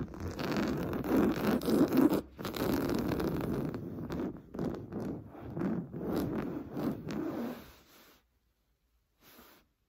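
Short blue-painted nails scratch fast across a large, soft, stuffed beige woven-fabric sofa cushion, making a dense, rough scratching rasp in rapid, uneven strokes. The sound is dull and mostly low-mid with little brightness, pausing briefly just after 2 seconds. It stops near 8 seconds, followed by a short faint scratch near the end.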